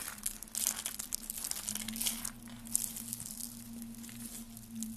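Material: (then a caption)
Soap. Rolled pink and green dry soap curls, hollow and brittle, are crushed between fingers with dark nails into flakes. They give a dense run of bright, dry crackling and crunching, with many quick crisp snaps and a faint steady low hum underneath.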